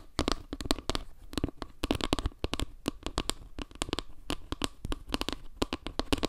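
A flat, round wooden log-slice trivet is held in both hands while long nails scratch and tap across its surface and edge. The result is a dense run of quick, dry clicks and taps with short scratchy rustles between them. Each tap dies almost instantly, with a woody knock around 290 Hz and some low thump beneath.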